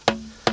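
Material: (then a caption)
Wood. Two knocks on a leaning tree trunk beside a barn, tilted about 10 degrees into it, give short, hollow, woody thuds, each leaving a brief low ringing tone. The trunk is hollow and dying, and because it endangers the barn it must come down.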